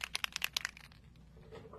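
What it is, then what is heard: Shaken spray bottle rattling. A plastic Distress Spritz spray bottle of mica ink is shaken so the pearl mica settled on the bottom mixes into the clear liquid. Six quick, bright, clicky rattles come in the first 0.7 seconds, then fade into a faint, soft rustle.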